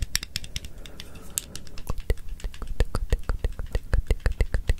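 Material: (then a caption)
Plastic, metal. A small blue plastic stapler with a metal mechanism is held in one hand, opened and clicked, and its metal parts are fiddled with the fingers close to the microphone. It produces a quick run of dry, sharp clicks and light rattles with bright, very short snaps over a low, steady rumble. The clicks turn more spaced and pronounced toward the end.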